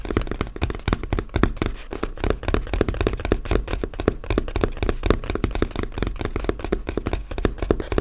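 A small, flat, closed brown corrugated cardboard box lies hollow on a table and is tapped with the fingertips and short nails of both hands. The result is a fast, uneven run of dull, hollow knocks that are heavy in the low end. Each tap dies away almost at once.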